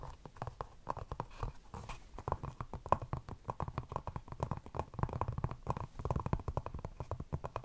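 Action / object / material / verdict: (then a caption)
scrape / EVA foam slide sandal / EVA foam / none. A single tan, molded EVA slide sandal of solid foam with a ridged sole is held up and scratched and tapped with long acrylic nails on its strap and ridged sole. Rapid, dry, soft taps and scratchy strokes run steadily throughout, each dying away almost instantly. The sound is muffled and low-weighted, with a faint tone around 1 kHz.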